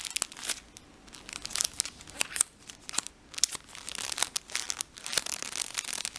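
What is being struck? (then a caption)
Plastic tissue pack wrapper. A blue plastic tissue pack wrapper is stretched, crinkled and rubbed with the fingertips. It makes a run of bright, dry crinkles and sharp crackling snaps with almost no low end, each burst cutting off quickly between quieter rustling stretches.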